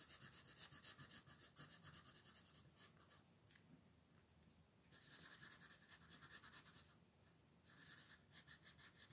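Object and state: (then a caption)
Colored pencil shading on paper. A red wooden colored pencil rubs over a thin paper coloring page on a table in quick shading strokes, while the other hand's long nails rest on the page. The strokes make a soft, bright, scratchy rasp, repeating about three to four times per second in bursts. The bursts are separated by quieter pauses around the middle and near the end.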